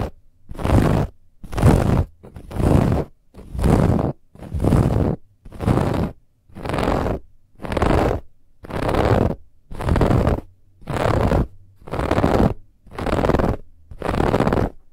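Long nails scratch fast over the woven beige lattice band wrapped around a large, soft white cushion that looks like faux leather. Fourteen separate bursts of rough, broadband scratching come about once a second, each with a heavy low rumble and a bright, hissy top, separated by short silences.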